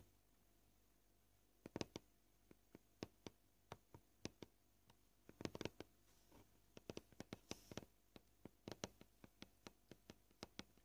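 Short purple-painted fingernails gently tap a flat, solid white plastic cutting board with knife scratches, seen edge-on, at both slow and fast pace. The result is a series of quiet, sharp, dry clicks with almost no ring, spread out singly and bunched in quick flurries over a faint steady hiss.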